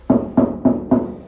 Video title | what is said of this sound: It can pay to look closer at antiques | if we tap it you can hear but it's Hollow